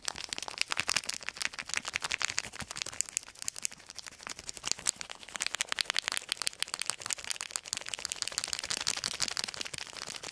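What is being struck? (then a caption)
Clear plastic film. A wadded sheet of clear plastic film is crinkled between the fingertips close to the microphones. It makes a dense, continuous stream of sharp, bright crackles and snaps with almost no low end. Each crackle dies away instantly.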